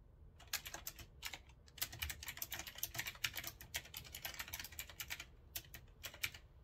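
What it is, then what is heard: Retro typewriter-style mechanical keyboard being typed on. Fingertips type on the round keycaps of a retro typewriter-style mechanical keyboard with a metal frame, resting on a wooden desk. A steady run of sharp, bright clicks comes in quick bursts with short pauses, each keystroke snapping off almost at once over a faint low thump.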